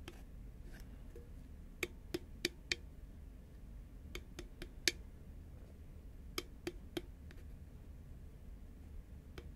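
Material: Cardboard.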